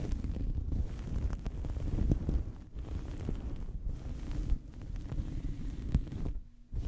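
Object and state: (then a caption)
Cloth towel scratched over microphone. A small fabric towel draped over a microphone is scratched with fingernails and rubbed with fingertips. The result is a dense, muffled, low rumbling scrape with soft thumps, almost all of its energy deep in the bass. It eases into a brief quieter lull near the end before the rubbing resumes.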